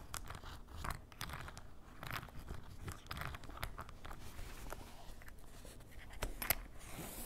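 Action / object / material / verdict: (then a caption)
scrape / canvas fabric waist bag / canvas / none. A ballpoint pen is scratched and dragged across the fabric of a grey canvas fanny pack held on a table. It makes quiet, dry, crunchy scraping rasps in uneven bursts, with a low rumbling body and a few sharp, bright clicks near the end.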